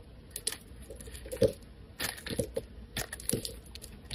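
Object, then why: Soap bar scraped by a metal blade. A snap-off metal blade scrapes strips from a solid, rounded white soap bar pre-scored with lines. It makes a series of short, dry crunching and scraping strokes at an uneven pace over a quiet background. Each stroke is brief with a bright edge and no ring.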